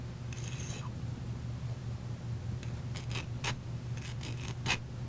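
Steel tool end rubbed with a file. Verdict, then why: Soft. A file is rubbed in short strokes across the back end of a steel tool that was not hardened in the coolant, producing brief raspy scrapes over a steady low hum. The file bites into the soft steel, so the sound differs from the glassy ring of the hardened tip, showing that this end is unhardened.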